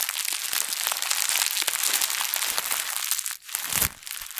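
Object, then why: Thin plastic bag. A thin plastic bag is balled up, squeezed and crumpled with both hands close to the mic. Dense, bright crinkling and crackling runs almost continuously, with almost no low end. The sound briefly drops out around 3.4 seconds before a louder crunching burst near 3.8 seconds.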